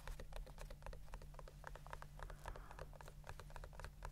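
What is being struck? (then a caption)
Small leather pouch with snap flap. A small brown leather pouch or sheath with a snap flap is held in the hands and tapped and scratched with the fingertips and fingernails. Quick, soft, irregular taps and light scratches follow one another over a steady low hum.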